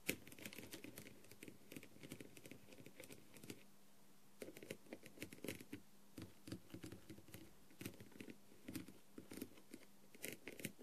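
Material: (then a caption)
Plastic. A green tool with a clear plastic tip taps and scratches the rhinestones on a blue plastic rhinestone-covered masquerade mask with gold trim. Quiet, close-up clicks and short scratchy bursts come in quick irregular runs, with a brief pause near the four-second mark. A faint steady low hum sits underneath.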